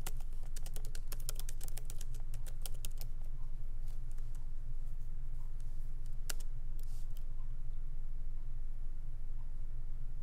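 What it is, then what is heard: Laptop keyboard typing. Both hands type with their fingertips on a MacBook Pro keyboard, tapping its low-profile plastic keys set in a solid aluminum body. A rapid run of light, bright clicks fills the first few seconds, then the taps thin out to occasional keystrokes. A steady low hum runs underneath throughout.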